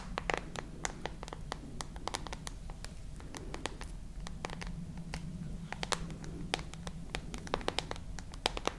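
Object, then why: Smartphone with glass back and metal edges. Long nails tap and scratch the back glass and edges of a dark glass-and-metal smartphone, making a steady stream of short, bright clicks with soft scraping between them. A low, steady hum runs underneath the whole time.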